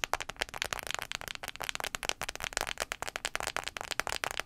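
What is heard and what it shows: Fingernails tap rapidly on the glass screen of an iPhone 5c. The result is a fast, uneven run of sharp, dry clicks that are bright and high, with no ring after each tap.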